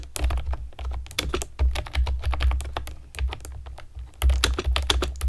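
Long nails and fingertips type on a pastel plastic keyboard with round keycaps, producing a rapid run of sharp, bright clicks and clacks. A steady low hum sits underneath throughout.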